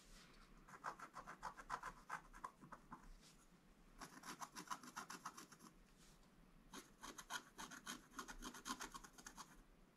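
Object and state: Scratch art board being scratched.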